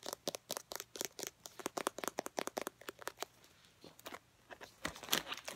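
Long painted nails tap on a full, travel-size Herbal Essences conditioner, a teal plastic squeeze bottle with a black cap. About 25 quick, bright clicking taps are heard, with very little low end and almost no ring. They come in fast irregular runs, pause briefly after the third second, then pick up again.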